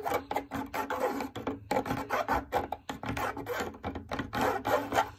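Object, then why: Fabric drum lampshade. Long nails scratch and tap quickly across a large, lit, hollow, cylindrical fabric drum lampshade. The result is a rapid run of dry, raspy scratching strokes mixed with light taps, centered in the midrange with a bright hiss on top. Each stroke dies away almost at once.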